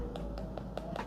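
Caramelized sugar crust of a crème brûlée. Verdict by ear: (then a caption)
Hard. Five light taps land on the hard caramelized sugar crust of a mango crème brûlée, each a short, dry tick with a faint bright edge. The crust answers each tap with a clear, solid click, showing it has set hard.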